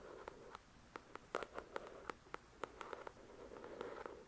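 Long acrylic nails tap and scratch the glossy card cover of a thick paperback novel, making about sixteen quick, dry clicks. The clicks have a midrange, papery ring and bright tips, and they sit over a soft, steady scratching hiss. The whole sound stays quiet and close.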